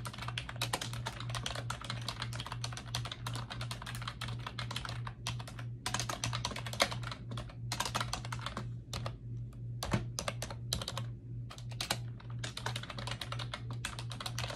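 Fingertips with long acrylic nails type steadily on a pink plastic computer keyboard with round backlit keycaps on a desk, producing a dense stream of quick, bright plastic clicks and taps. The clicks thin into sparser strokes with brief pauses around the middle before the fast typing resumes, all over a steady low hum.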